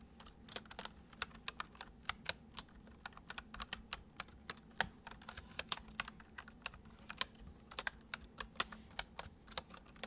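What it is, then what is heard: Plastic computer keyboard being typed on. Fingertips of both hands type fast, repeated taps on a full-size white plastic computer keyboard with hollow keys resting on a wooden desk. About 43 sharp, bright, hollow clicks arrive in an uneven stream, each dying away almost instantly. A faint, steady low hum runs underneath.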